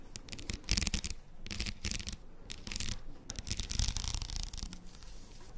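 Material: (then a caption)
Plastic. A plastic faux pearl padded headband is turned in the hands while long nails scratch across its beaded surface and inner side. Bursts of dry, bright scratching and clicking come in uneven strokes over a low rumble of handling.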